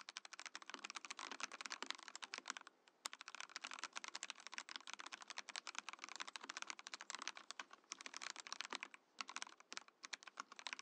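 A compact Mojo68 mechanical keyboard in a transparent acrylic case with cream and orange plastic keycaps is typed on quickly with the fingertips of both hands. Rapid, bright, dry clacks run in a steady stream, with short pauses near the third and ninth seconds and one sharp louder click just after the three-second mark.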